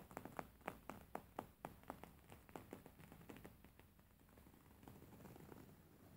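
Fingernails tap and scratch on an embroidered linen pillow, a beige stitched fabric cushion. A quick, uneven run of short, dry taps with no ring fills the first half. It then gives way to a softer, steady scratching rustle at a low level.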